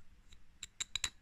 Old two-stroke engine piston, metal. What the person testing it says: on entend bien que c'est creux